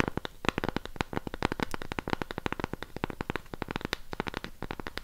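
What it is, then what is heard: Cork coaster. Long pink nails scratch and tap the surface of a round cork coaster held upright. A rapid, dense run of short, dry clicks mixed with scratchy rustling continues steadily throughout, each tap dying away instantly with no ring.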